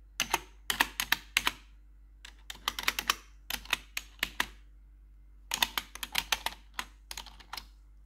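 Metal claw nails tap and scratch the keys of a black plastic RGB computer keyboard. They make quick bursts of sharp, bright, clicky hits with almost no low end, broken by short pauses around 2 and 5 seconds.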